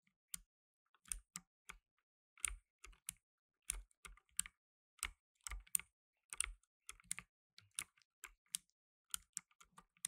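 Blue nitrile-gloved fingertips type on a black tenkeyless mechanical keyboard with plastic keycaps. Quiet, irregular clusters of short, crisp clicks ring with a bright top and a faint low thud, each dying out instantly.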